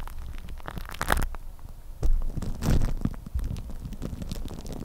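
Long nails scratch and tap on clear plastic cling film wrapped tightly over a microphone head, making a dense, muffled crinkling rumble that is heavy in the low end. Irregular taps and scrapes run throughout, with louder, brighter bursts of crackle standing out now and then.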